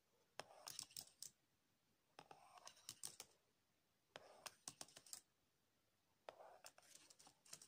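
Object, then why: Plastic laptop keyboard keys. A latex-gloved hand taps and rubs the keys of a black MacBook, which has a plastic keyboard and a hollow body, with the tip of a green wax crayon. Four quiet bursts of sharp, bright clicks mix with soft scratchy rubbing, and short silences fall between them.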